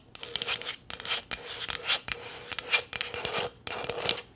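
Long green nails tap and rub a light green plastic tumbler, a hollow, empty cup held in the hands. Bursts of bright, dry scratching mix with quick sharp taps, mostly high-pitched with a faint low hum, separated by brief pauses.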